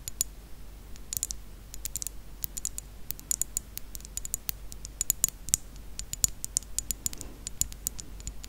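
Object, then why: Thick glass perfume bottle. Long acrylic nails tap and click on a rectangular thick-glass perfume bottle, filled with dark red liquid and lying on its side. Quick, irregular, sharp clicks with a bright glassy tick die away almost instantly over a quiet, low background hum.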